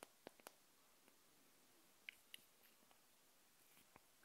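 Long nails tap and scratch the glass neck of a small wax-filled glass jar candle held in the hand. Sharp, bright, dry clicks and faint scrapes are scattered over a quiet, hissy background, with almost no ring after each touch.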